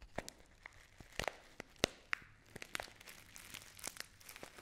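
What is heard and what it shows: A hand-sized, filled Dammann foil tea pouch is crinkled in the hands with long nails. Many sharp, bright crackles and crunches come in quick bursts over a faint low hum. Each snap cuts off almost at once.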